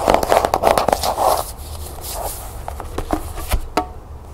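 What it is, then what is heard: Cloth-bound hardcover book, tapped and scratched. A closed cloth-bound hardcover book with a striped tan cover is held and then laid on a table while long nails scratch and tap its cover. Quick, uneven taps and scratchy bursts come first, with a hollow, papery mid-range tone. They give way to softer, sparser clicks and a few sharp, bright taps near the end.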